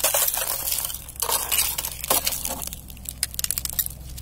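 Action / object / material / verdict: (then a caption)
strike / thin ice sheet / ice / none. A knit-gloved hand presses down on a thin, clear layer of ice over grass that is already partly shattered, breaking the sheets into shards. Bright, glassy crackling and crunching come in quick bursts, with sharp clinks of the shards. A faint, steady low hum runs underneath.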